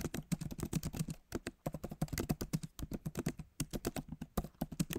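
Fingertips of both hands type on the backlit keyboard of a MacBook Pro, tapping its solid plastic keys set in an aluminum body. A quick, steady run of about 34 short, dry taps is heard, each a soft, low-weighted thud with a faint clicky edge and almost no ring.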